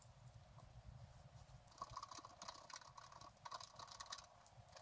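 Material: Paper.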